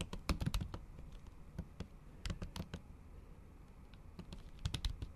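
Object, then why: Plastic keyboard keys. Long acrylic nails tap and type on a MacBook keyboard covered by a thin pink plastic or silicone cover. Clusters of short, dull clicks with bright edges come in bursts, separated by brief quieter pauses.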